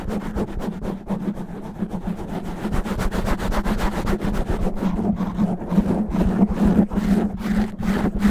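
Fingernails of both hands rub and scratch fast and rough across the top of a black foam windscreen covering a microphone head. The result is a dense, continuous, muffled scraping with heavy low rumble and a steady tone near 210 Hz, swelling in irregular strokes and growing slightly louder toward the end.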